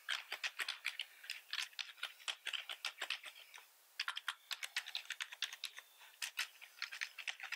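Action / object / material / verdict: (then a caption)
tap / plastic membrane computer keyboard / plastic / none. Both hands type fast with their fingertips on a full-size black plastic membrane keyboard with red accent keys, resting on a wooden desk. Dozens of quick, bright, dry plastic key clicks patter in uneven bursts with almost no low end. There is a brief pause just before the four-second mark before the typing resumes.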